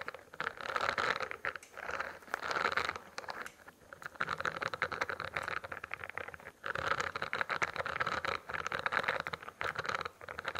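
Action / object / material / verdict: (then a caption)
scrape / spiral notebook with studded plastic cover / plastic / none. Fingertips and nails scratch and tap the studded, textured plastic cover of a closed spiral notebook held close in front of the mic. Dense, dry scratching and light tapping come in bursts separated by short pauses, with a bright midrange rasp and almost no low end.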